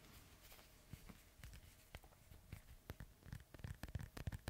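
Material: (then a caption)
Synthetic leather. A hollow, inflated synthetic leather soccer ball is held steady while fingertips and nails scratch across its surface. Quiet, dry, irregular scratches and soft low thumps come through, with brief bright clicks that grow denser and louder toward the end.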